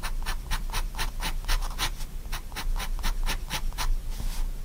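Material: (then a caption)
Paper. A pigment liner pen makes many quick, short scratching strokes on spiral sketchbook paper, hatching shading into the fingers of a drawing. Each stroke is a bright, papery scratch over a steady low hum.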